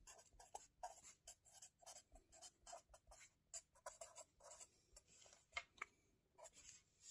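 A marker tip scratches across the lined paper pages of a spiral notebook resting on a table while writing. The sound is a quiet run of short, bright, dry scratchy strokes with brief pauses between them, and nothing low underneath.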